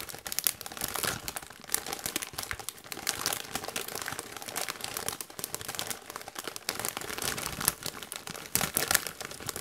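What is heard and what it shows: A Doritos chip bag made of metallized plastic, partly full of chips, is crinkled by gloved hands. Dense, bright crackling and rustling runs almost continuously, with sharper crunchy bursts rising out of it and very little low end.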